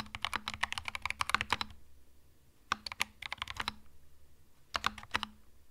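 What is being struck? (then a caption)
Mechanical keyboard with plastic keycaps. Slow fingertip typing on a compact cream mechanical keyboard with plastic keycaps. Crisp, bright key clicks come in three bursts separated by short pauses. Each keystroke is short and dry, with a faint low hum underneath.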